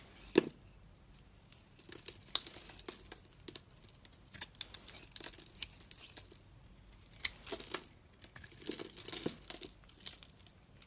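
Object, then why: Bar of soap carved with a knife blade. A utility knife blade held in the hand carves and scrapes the surface off a solid embossed purple soap bar with a dark blue interior. Bright, crisp scraping and crackly shaving sounds come in irregular bursts, with a few sharper cuts standing out and short quiet gaps between strokes.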